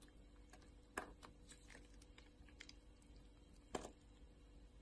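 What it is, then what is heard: Glycerin soap bar being scraped. A solid translucent orange glycerin soap bar with a diamond-scored surface, held in a hand with long nails, is scraped with a utility knife blade so small cubes break off. Quiet, dry crackling and light ticks run throughout, punctuated by two sharper, brighter snaps as pieces come away.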